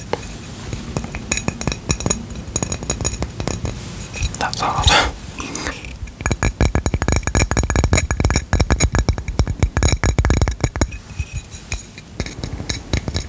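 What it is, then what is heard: Ceramic coaster. Tapping and scratching on a ceramic coaster produces a busy run of light, glassy clinks and clicks with scraping in between. Around the middle a brief bright, screechy scrape rises, and then a dense burst of rapid taps follows before the sound settles into sparser tapping.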